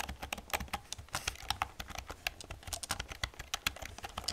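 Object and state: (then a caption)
Plastic computer keyboard being typed on. Fingertips and long nails type on the keys of an old black plastic computer keyboard. The result is a quick, uneven run of bright, dry clacks and clicks that die away at once, with a soft low thud under each press.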